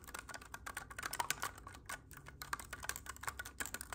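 Fingertips tap and click the silver metal keys of a hollow black clarinet held horizontally, making a rapid, uneven run of quiet, dry clicks. Each tick is short and bright with almost no ring, and it sounds much like typing on a keyboard.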